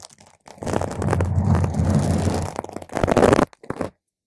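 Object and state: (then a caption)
Foam microphone windscreen. Long pointed green acrylic nails tap and scratch a purple spherical foam windscreen on a microphone, producing a dense, muffled, low rumbling scrape with little brightness. A sustained stretch of scratching is followed by a shorter, louder burst and a few quick taps before it stops.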